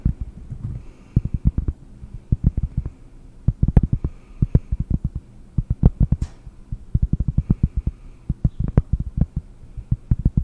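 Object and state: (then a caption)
Cork disc. A round, flat, solid cork disc is held close to the microphone and tapped and scratched with long nails. Many quick, dull, low thuds come in irregular clusters with almost no ring, and faint scratchy bursts sit between them.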